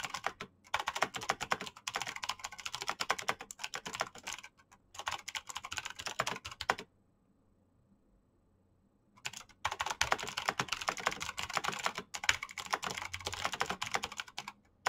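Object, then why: Plastic mechanical keyboard. Fingertips type fast on a black plastic mechanical keyboard with clicky switches, producing dense runs of sharp, bright clicks. The bursts break off briefly near half a second and 4.5 seconds, then go quiet for about two seconds from roughly 7 to 9 seconds before the rapid typing resumes to the end.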